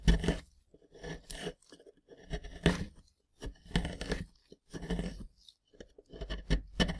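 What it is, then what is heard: Plaster block being scraped. A gloved hand scrapes and chips at a rectangular solid plaster block with embedded yellow plastic bones, using a small pointed wooden or plastic scraper. Crumbs break off in bursts of dry, gritty scraping and crunching that stop and start through the clip. The sound is close and low-heavy, with little ring after each scrape.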